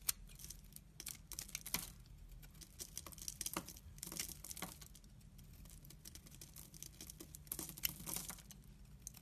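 A utility knife blade shaves flakes along the length of a solid, dry, fibrous brown laundry soap bar held in the hand. It makes a quick series of crisp, dry, bright scraping strokes with sharp crackly onsets and almost no ring. A faint steady low hum sits underneath.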